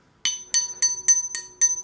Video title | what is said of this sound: Wie man eine Trompete baut - SWR Handwerkskunst | you only have a small cavity between the mandrel and the mouthpipe